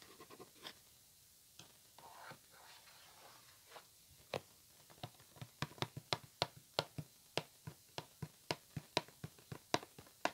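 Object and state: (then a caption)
Cardboard box tapped and scratched. Fingertips and nails tap and scratch a hollow white printed cardboard headphone box held in the hands. A few soft taps and a brief papery scratch open the clip. From about four seconds, a steady run of sharp, dry taps with bright clicky tops and almost no ring follows, about seventeen hits in all, close and quiet.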